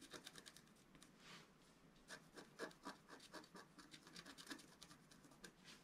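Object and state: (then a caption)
Scratch art paper sheet being scratched. A wooden stylus scratches dense strokes into the black coating of a flat, thin scratch art sheet. Quiet, dry, rasping scrapes come in quick, uneven bursts with a bright, hissy edge. Each stroke stops short with almost no ring.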